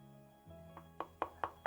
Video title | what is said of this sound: JBL Pulse 4 vs Pulse 3 -The bar is set high- With Quality Sound Sample | It's plastic, but this really hardened plastic that feels and sounds like glass